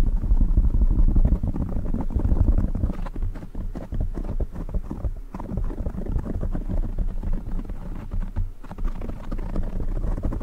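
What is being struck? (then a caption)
Foam microphone windscreen. Fingertips of both hands quickly scratch and tap a soft, hollow black foam windscreen covering a silver microphone. The result is a dense, muffled stream of deep rumbling thumps and scrapes, about four per second in a loose rhythm, with almost all the energy low in the bass and nothing bright on top.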